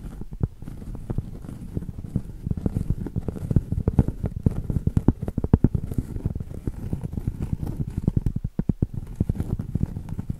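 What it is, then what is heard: Cork board tapped and scratched. Long acrylic nails tap and scratch the surface and rim of a round solid cork board, held both flat and edge-on. Quick, soft, dull taps come in a dense, uneven patter, low and muffled with almost no ring, over a faint scratching rustle.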